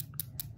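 The glass inner container of an opened perfume atomizer bottle is tapped three times, giving short, bright clicks with high-frequency sparkle and almost no ring, over a steady low hum. The clicks confirm the inside vial is glass, which keeps perfume relatively stable for long-term storage.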